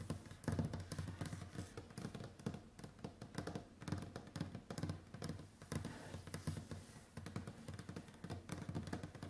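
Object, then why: Varnished wooden tabletop. Long white acrylic nails tap across a large, solid, varnished wooden tabletop with both hands. The result is a dense, irregular stream of quick, dull knocks with brief scratchy clicks. They are mostly low and woody, and each dies away almost at once.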